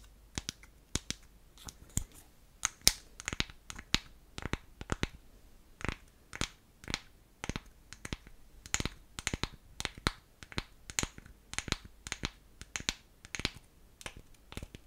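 Long acrylic nails tap the top and side of the lid on a small, round, hollow, unfinished light wooden blush jar. Dozens of sharp, dry, bright clicks come in quick, uneven bursts, each dying out almost instantly with no ring.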